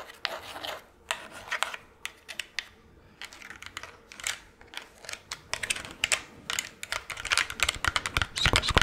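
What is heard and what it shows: A fingernail taps on a plastic skull Halloween decoration, making quick, crisp, bright clicks with almost no ring. The taps come in irregular bursts and grow denser and louder toward the end.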